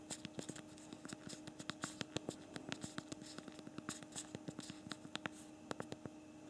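A BlackBerry Priv smartphone's physical plastic QWERTY keyboard is typed on with thumbs while writing a message. A quick, uneven stream of small, sharp plastic clicks with bright tops sits over a faint steady hum.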